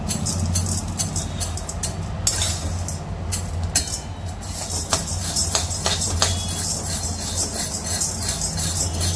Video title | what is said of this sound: "काटेरी","नळीदार", "खुसखुशीत" चकली भाजणी - Chakli Bhajni -Chakli Bhajani Ingredients @recipesafar | डाळ खणखण वाजते कशी बघा. हा असा आवाज येईपर्यंत डाळ भाजायची आपल्याला.